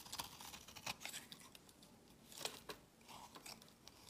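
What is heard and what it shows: A palm-sized solid white bar of soap, held in the hand, is scraped and shaved with a steel utility-knife blade, curling off shavings while a black soap bar sits untouched on the table. Quiet, dry, bright scraping strokes come in short bursts with brief crisp crackles, each dying away almost at once.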